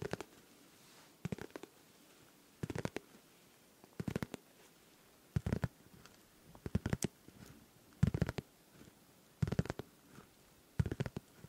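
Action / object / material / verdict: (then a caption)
tap / clear plastic pencil case / plastic / none. A hand-sized, hollow, transparent pink plastic pencil case with small colourful items inside is held in both hands close to the microphone and tapped and scratched with fingertips and nails. About nine short bursts of quick, dry taps and scratches arrive roughly every second or so, each with a soft low thump under brief bright clicks, separated by quiet gaps.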